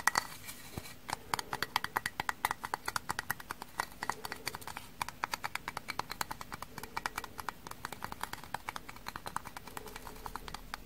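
Frozen kitchen sponges, stiff from freezing, are tapped in a rapid, irregular run of hard, dry clicks instead of soft sponge sounds. Each click is short and bright, centered around 2 kHz, and dies away almost instantly over a quiet background.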